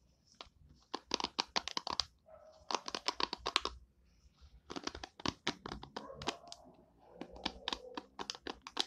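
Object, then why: Plastic hairbrush pin bristles. Long nails scratch and flick across the white plastic pin bristles of an oval hairbrush with an orange and purple plastic body, the pins set in a cushion. Quick bursts of sharp, bright plastic clicks and ticks come in rapid clusters, separated by softer, raspier scratching passages and short pauses.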